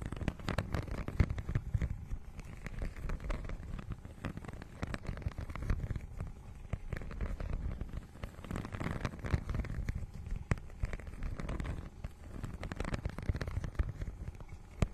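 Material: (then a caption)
Plastic. Long nails scratch across the holographic, scale-textured plastic cover of a notebook-sized book. The result is a dense, continuous crackle of quick scratchy clicks, with most of the weight in the low range and only faint brightness on top.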